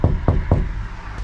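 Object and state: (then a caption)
Damped van body panel with sound-deadening mat. Three knocks on a section of a Fiat Ducato van's steel body wall covered with bonded Noico anti-drumming sound-deadening panels. Each knock is a dull, low thud centered near 78 Hz that dies away quickly with almost no ring. The treated panel sounds much darker than the bare metal, showing the damping is working as intended.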